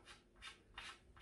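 Chalk is rubbed onto a newly fitted leather pool cue tip that was roughened with a file. Repeated short, bright scraping strokes produce a crisp chalking sound. The crisp sound marks it as a good tip.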